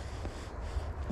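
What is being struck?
Nothing is struck.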